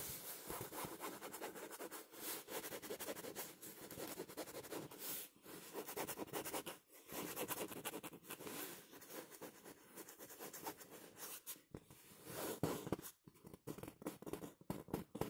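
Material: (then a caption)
Synthetic fabric. A small stuffed pillow with a smooth printed synthetic fabric cover is held in both hands near the face while short nails and fingertips scratch and rub across the fabric. The result is a steady, dense stream of soft, papery scratching and rubbing, with brief pauses between passes and sharper, more broken strokes toward the end.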